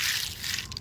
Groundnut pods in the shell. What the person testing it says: उन्हाचा बघा कसा खुळखुळ आवाज येतोय